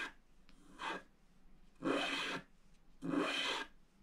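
A pointed wooden stylus held in the fingers scratches a flat, black, wax-coated scratch-art sheet from a book lying on a table, while the other hand holds the sheet down. Three separate raspy strokes are heard: a short one followed by two longer ones, each a dry, bright, airy scrape with quiet pauses between.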